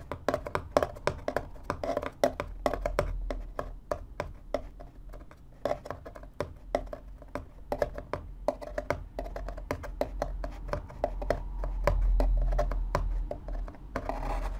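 Fingertips tap rapidly on the top panel, near the slots, of a small, empty, hollow corrugated cardboard box. The taps are short, dry, hollow knocks with a low thump and a midrange body, dying away almost instantly. They come in a quick, uneven patter over a faint low rumble.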